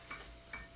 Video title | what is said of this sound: Instructions on Breaking for Martial Artists - Dillman Karate International | if I take a cement block and tap it you hear a little ring